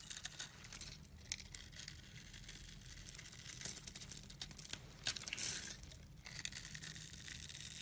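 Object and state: Soap bar being carved.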